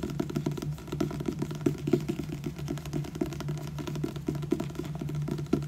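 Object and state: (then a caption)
Paperback book. Fingertips and nails tap and scratch the glossy card front cover of a purple paperback book, "Losing Hope", with a solid paper block. Quick, dull, closely spaced taps mix with soft scratching over a low steady hum. The sound is muffled and low, with little high end.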